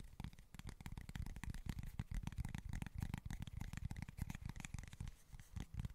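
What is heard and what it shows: Fingernails scratch and tap on a small flat cork board, making a quick, irregular run of soft, dull taps with a faint dry scratching between them. The sound is mostly low and muffled, with brief bright edges on each tap and no ringing afterward.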